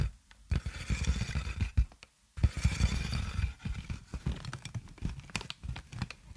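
Clear plastic inflated air-column packaging with hollow tubes is held upright in front of a microphone and tapped and squeezed with long nails and fingertips. Dense crinkling and scraping bursts carry deep, low-heavy thumps, with a brief quiet gap near the middle before the busy handling resumes.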